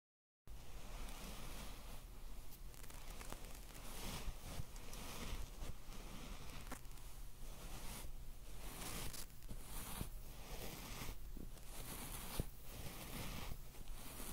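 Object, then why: Synthetic faux fur rug. Fingertips and long nails of both hands scratch a flat, soft, non-hollow white faux fur rug lying on a table. The result is a steady, soft rustling scratch with repeated brighter swells, over a constant low hum.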